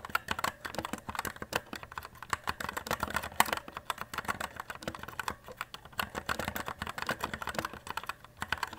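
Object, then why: Plastic mechanical keyboard. Continuous fast typing with both hands' fingertips on a white compact E-Element Z-88 RGB mechanical keyboard with plastic keycaps and a metal top plate, lying on a desk. Rapid, sharp key clicks with a bright plastic clack and very short decay run steadily throughout, some strikes louder than others.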